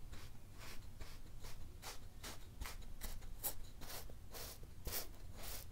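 A flat, solid layer of pink kinetic sand on a teal cloth is repeatedly pressed and stamped with a wooden meat tenderizer, leaving a waffle-grid pattern. Each stamp makes a soft, gritty crunch with a muffled knock, over a steady low hum. The crushing sounds come in a quick, regular series.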